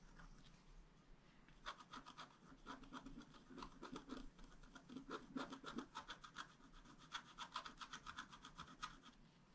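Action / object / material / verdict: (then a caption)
scrape / scratch-art paper card with wooden stylus / coated paper / none. A wooden stylus scratches short strokes into the coating of a flat, black-coated scratch-art paper card steadied by one hand. The result is a quiet run of many dry, rasping scratches at an uneven pace, each a brief bright burst with a papery edge that stops almost at once, clustering in busier flurries toward the middle and end.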